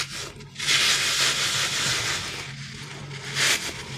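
A green soft rubber crocodile stress toy with a ridged back, solid and gel-filled, is rubbed and squeezed with the fingertips and thumb across its textured surface. A bright, hissy rubbing rasp swells in and holds for a few seconds, easing off before a brief louder surge near the end, over a faint low hum.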